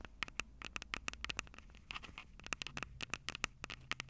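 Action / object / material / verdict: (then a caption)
tap / plastic handheld recorder with metal mic grilles / plastic, metal / none. Long purple acrylic nails tap and scratch the two metal-grilled microphone capsules of a Tascam DR-05 handheld recorder with a plastic body. The result is a quick, irregular run of sharp, dry clicks with a bright tone centered near 2.7 kHz, each dying away almost instantly, over a faint low rumble and soft scratching between taps.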